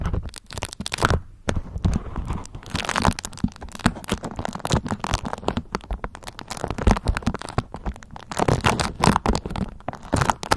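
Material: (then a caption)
Waxed cotton. A thin, flexible, pale yellow beeswax-coated cotton food wrap is draped over a microphone and held in both hands while long acrylic nails pinch, crinkle and scratch the waxy cloth. Dense, close crinkling and scratching crackles continue throughout, with a strong low-end rumble and short, dry bursts that barely ring.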